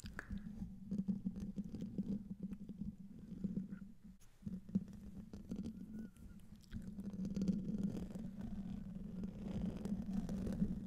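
A silver Blue Yeti microphone's hollow metal mesh grille is scratched with medium-length nails while the hand wears rings. The close-up sound is a dense, rumbling, scratchy rasp centered low around 200 Hz, with bright clicks scattered throughout. It eases briefly near the middle before the scratching builds back to a steady, fuller texture.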